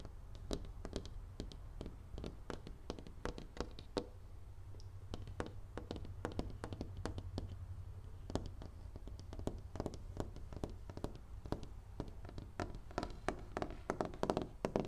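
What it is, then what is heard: Painted panel door. Fingertips wearing rings tap rapidly on a large, solid white-painted interior panel door of wood or composite, while the same hand presses a small foam-covered mic against its surface. Many short, dry taps with sharp, bright clicks sound over a steady low rumble and die away almost instantly.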